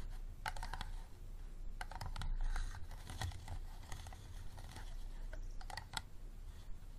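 Fingernails tap rapidly on the sides of an empty, clear, unlabeled hollow plastic bottle standing upright. The taps are quick, bright clicks with a hollow plastic tick, over a steady low rumble.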